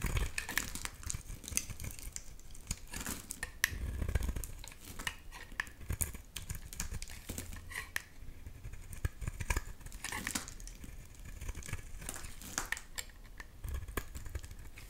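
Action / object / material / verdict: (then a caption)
scrape / bar of soap / soap / none. A box-cutter blade shaves a solid, translucent green bar of soap, letting thin flakes fall away. The result is a steady stream of dry, crisp scraping and crackling cuts, with bright clicks standing out over a soft low rumble.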